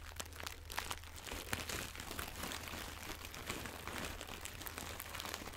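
A small floral fabric pouch with crinkly filling is squeezed and rubbed with fingers and long nails close to the microphone. A steady stream of soft, bright crinkling and crunching continues throughout, with many quick sharp crackles over a faint low hum.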